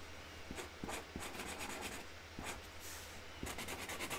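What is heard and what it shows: A hand colours in a flower with a pink felt-tip Sharpie marker on a flat white cardboard box lid, rubbing the nib back and forth across the cardboard surface. Dry, scratchy strokes come in short bright bursts over a steady low hum, quickening into denser rubbing toward the end.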